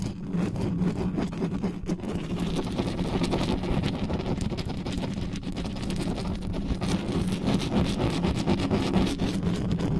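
Long nails scratch fast and hard across the bare mesh grille of a dark metal USB condenser desktop microphone, with hands gripping the grille head and no cover on it. The result is a dense, continuous rumbling scrape, heavy in the low end with a steady tone near 190 Hz and little high content, holding a fairly even level for the full ten seconds.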